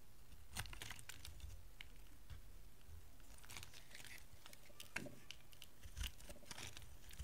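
A rectangular cream and blue bar of dry solid soap, held in the hand, is scraped and shaved with a metal utility knife blade. The result is a quiet run of dry, crisp crunching and crackling scrapes with bright edges over a low, soft rumble, and a few louder crunches stand out.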